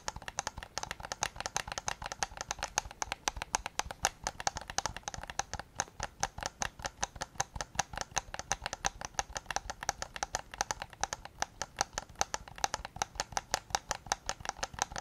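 Fingertips tap rapidly on the rear shell and triggers of a white PS5 controller made of hollow plastic, giving about 96 quick, dry clicks across the clip. Each tap has a hollow plastic tone centred around 800 Hz with a bright edge and dies away almost instantly.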